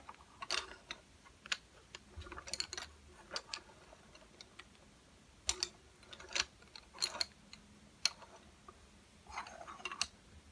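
A row of slim, solid, painted wooden coloured pencils lies flat on a table while fingertips tap and drum on them. The result is a series of short, dry, bright clicks and taps, some in quick clusters, with little ring and a faint low hum underneath.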